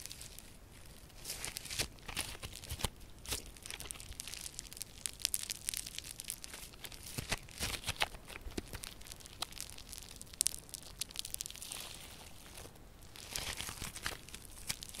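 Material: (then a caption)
Slime. A hand-sized lump of soft yellow crunchy foam slime with a grainy foam-bead texture is stretched, squeezed and pulled apart with both hands, fingers and long purple nails working it. Dense, bright crackling and popping crunches run throughout, with sharp tearing bursts over a quiet background.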